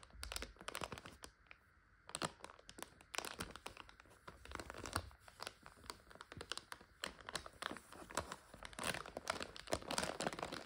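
A full plastic bag of dry egg noodles is scratched with long nails and squeezed by fingers. It gives dense, bright crinkles and crunches in quick bursts with brief pauses between them.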